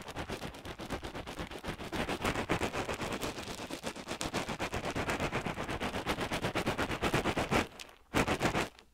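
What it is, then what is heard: Pellet-filled crocheted hacky sack. A small, solid, hand-sized crocheted cotton yarn hacky sack packed with pellet filling is held by the fingertips against the left ear of a binaural mic and squeezed and kneaded. The pellets give a dense run of short, crackling crunches across a broad band. A brief lull near the end is followed by one more burst.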